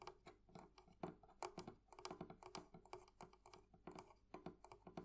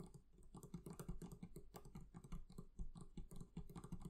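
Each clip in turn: First: metal fittings on a wooden barrel chest. Second: leather covering on a barrel chest.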